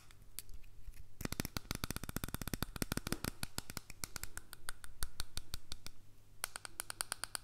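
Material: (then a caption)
Plastic. A small, hollow white plastic earbud case with a slot is held in one hand and tapped and scratched with the fingertips and nails of the other. Rapid, uneven bursts of sharp, dry clicks and taps ring out over a steady low hum, with a quieter scratchy start and a brief lull before the tapping resumes near the end.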